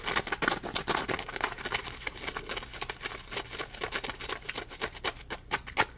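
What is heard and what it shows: Fingers tap, squeeze and scratch a small, solid yellow ridged polymer foam Scrub Daddy scrub sponge. The result is a quick run of dry, crackly scratches and soft taps, bright and high with almost no low end. Each sound cuts off quickly with no ring.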